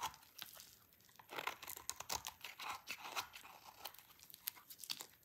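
A hand-sized, solid bar of dry pink soap held in the hands is shaved with a utility knife blade. The blade scrapes and cuts off crunchy curls into a pile of shavings. The result is a quick run of bright, crisp, crackling scrapes with no low rumble.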